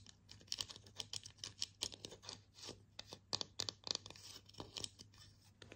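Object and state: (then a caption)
Bamboo slotted spatula. A slotted bamboo spatula of solid wood, held in both hands, is tapped and scratched with long painted nails. The result is a quiet run of quick, dry, bright clicks and scratchy strokes that stop instantly with no ring, over a faint steady low hum.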